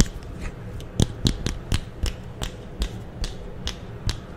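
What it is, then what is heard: Plastic clothes hanger. A thin, solid green plastic clothes hanger about 40 cm wide is held in the hands while the fingers flick and scratch its hook and bar. About ten short, dry, clicky mechanical taps ring out at an irregular pace, each with a bright tick and a low thud. Faint scratching fills the gaps between them.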